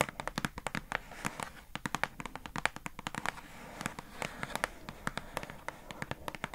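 Long nails tap rapidly on the paper-labelled front of a hollow, pink, rectangular plastic squishy storage box. The result is a fast, uneven stream of sharp, dry clicks with bright, crisp tops and almost no ring, over a faint steady background.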